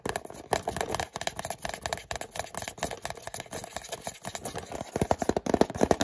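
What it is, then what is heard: Cardboard retail box. Fingernails tap and scratch along the narrow side panel of a small orange and white cardboard product box held in the hands. Rapid, dry, papery clicks and scrapes with a hollow midrange tone follow one another closely, each dying away almost at once. The tapping grows louder and faster in the last second.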